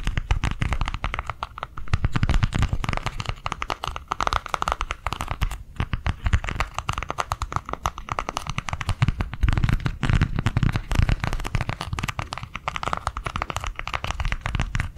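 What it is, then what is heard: Plastic cardholder book. A small white plastic cardholder book is held in both hands and tapped quickly with nails and fingertips. The result is a dense, steady stream of short, dull, low-heavy taps with a faint crinkly edge, rising and falling in loudness in waves over the whole clip.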